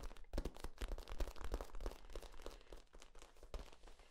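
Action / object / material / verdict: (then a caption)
scrape / corrugated plastic tube / plastic / none. A hollow, ribbed, flexible yellow corrugated plastic tube is compressed and bent by hand, its ribs crinkling. Dense, irregular crackling ticks and short clicks come in quick succession over a low thumping rumble. They grow softer and sparser toward the end.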